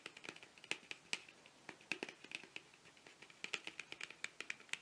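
Fingernails tap rapidly along the length of a long, narrow, hollow printed cardboard box, eyeliner-style packaging held horizontally. The result is a quick, uneven run of dry, bright clicks with almost no bass and an instant decay, each tap ringing faintly around 2.5 kHz.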